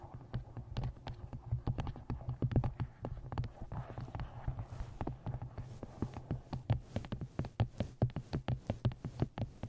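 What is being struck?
Paperback book, paper and card.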